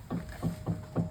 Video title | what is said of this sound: Artiga Chalana may cut cut sound#problem #Sarkar link, new change#problem solve | बहुत जोर आवाज कर रहा है। ये आवाज एक्चुअली इस सॉकर लिंक का है।